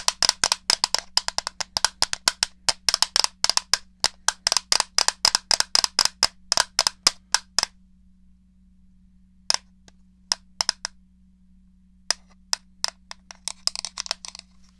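Long painted fingernails tap a small, hollow grey plastic Super Nintendo controller held up beside a foam head. The first half is a fast run of sharp, clicky taps with a bright, high ring, followed by a pause and then sparser, scattered taps with a soft brushing texture near the end. A faint, steady low hum runs underneath throughout.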